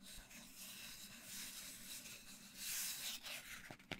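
Fingertips and short nails scratch and tap along the surface of a long, hollow, empty brown cardboard mailing tube. A quiet, bright, papery scratching hiss rises and falls, with a faint low hum beneath it. A couple of sharp little taps come near the end.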